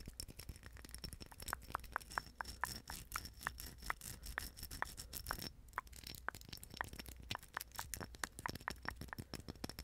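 A small hollow plastic napkin ring, a cylinder band of silver plastic rhinestone mesh held in the fingers, is scratched and tapped with long pink acrylic nails. Quick, dense clicks and scratchy rattles run throughout, with sharp bright taps ringing around 1 kHz over a low hum and a steady high tone.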